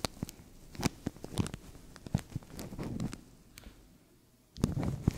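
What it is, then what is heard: Thin plastic bag crinkled over a microphone. A translucent thin plastic bag stretched over a microphone is scratched and crinkled by fingertips and nails, giving close, bassy rubbing with a series of sharp, bright crackles and clicks. The sound thins to near quiet for about a second before a denser burst of crinkling at the end.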